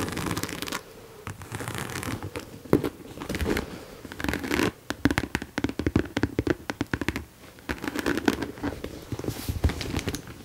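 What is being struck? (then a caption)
Embossed leather handbag. Long nails scratch and tap the side and front of a hollow mauve croc-embossed leather handbag held close to the mic. Dry, scratchy rasps alternate with rapid runs of short, hollow-sounding taps that stop quickly.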